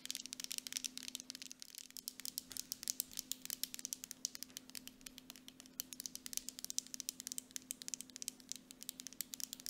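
Long acrylic nails on both hands tap rapidly on the sides of a full grey plastic mud mask jar with a metal lid. The result is a dense stream of sharp, bright clicks over a faint steady low hum.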